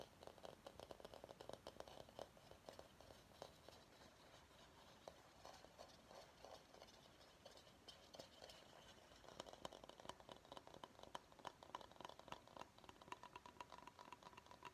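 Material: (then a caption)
Bamboo. Fingernails tap and scratch the outside of a medium, hollow, empty bamboo salad bowl held upside down. A quiet, steady stream of quick, dry clicks and scratchy rasps with a hollow tone around 550 Hz runs throughout, and each tap dies away almost at once. The tapping gets busier and slightly louder in the second half.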